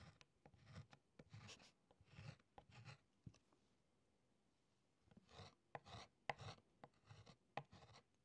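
A brass-tipped stylus held in the fingertips scratches and incises Latin letters into a flat rectangular beeswax writing tablet: a thin layer of yellow wax set in a light wooden frame, lying on a wooden table. Short, quiet bursts of dry, bright scraping strokes come with soft low taps. They pause for a moment of near silence in the middle, then resume in quicker, sharper strokes.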